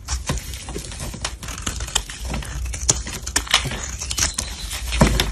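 A black utility blade shaves and scrapes powdery flakes off a solid white-cream soap bar with molded bumps, held in black-gloved hands. Many quick, crisp rasping scrapes with a bright edge sound over a steady low hum, ending with a slightly louder scrape.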